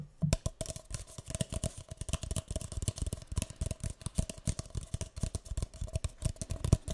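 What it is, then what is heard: Empty paper cup. A single empty, hollow, light green speckled disposable paper cup is held upside down near the mic and tapped and scratched with fingertips and nails. Rapid, soft, hollow taps with low, dull thuds continue throughout, mixed with fine, bright scratching.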